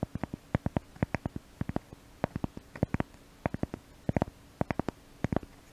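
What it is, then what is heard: Cork piece. A small brown cork piece is held in both hands right at a microphone and scratched with the nails. It gives a rapid series of short, dry, low scratching clicks in uneven bursts, about thirty, over a faint steady hum.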